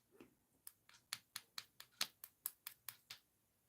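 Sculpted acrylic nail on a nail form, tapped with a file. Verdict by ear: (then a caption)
Set. A file taps repeatedly on a sculpted acrylic/gel nail enhancement to check whether it has set, producing a quick series of sharp, bright, dry clicks with almost no ring. The clicking rather than a dull thud shows the nail has cured and is ready for the form to be removed.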